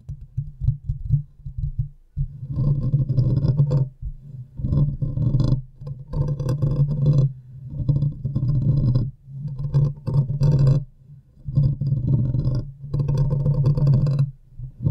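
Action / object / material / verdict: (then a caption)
scrape / metal wire-mesh microphone grille / metal mesh / none. Long manicured nails of both hands, wrapped around the hollow domed metal wire-mesh grille of a large silver USB condenser microphone, scratch across the mesh. The result is a dense, close, low rumbling rasp in bursts of a second or two, separated by brief pauses, with a steady boomy low hum and faint bright scratchy texture on top.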